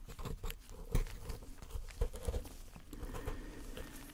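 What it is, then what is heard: Gold-painted plaster bar, plaster interior. A metal pick scrapes and chips at the white plaster interior of a partly dug-out solid plaster block with a gold-painted outer shell. Irregular dull, crunchy scrapes and taps repeat, with a few sharper chips standing out. The sound is mostly low and dies away quickly after each hit.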